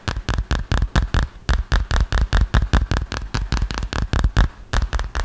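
A hand-sized, flat, solid smartphone in a dark green plastic or silicone case is held close and tapped quickly with fingertips and short nails. The result is a fast, uneven string of about two dozen short, dry taps, each a low thump with a clicky top that dies away almost at once.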